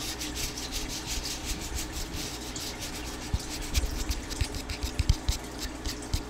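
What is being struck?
Plastic spray bottle.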